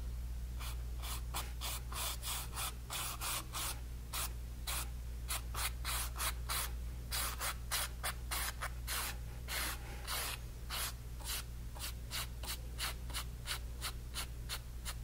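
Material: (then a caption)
Cotton canvas. A hand drags a flat brush loaded with yellow paint across a small, partly painted stretched cotton canvas panel. The result is a long run of quick, rough, bright swishing strokes at an uneven pace, over a steady low hum.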